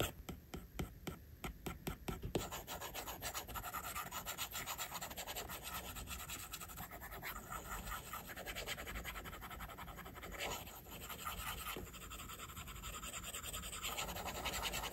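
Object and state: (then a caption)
Stylus drawing on a glass tablet screen. A plastic stylus tip draws on the glass screen of an iPad with scratching and rubbing strokes. A quick run of separate short strokes opens the clip, then gives way to steady, continuous scratchy rubbing with a dry, bright texture. It stays quiet throughout.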